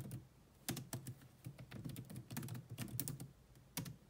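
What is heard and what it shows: Fast typing with long manicured nails and fingertips on a grey laptop's dark plastic chiclet keys, its hollow body adding weight to each stroke. A quick, uneven run of soft, hollow clacks with low thumpy body and bright clicking tops, each dying away almost instantly, with a few sharper, louder strikes standing out.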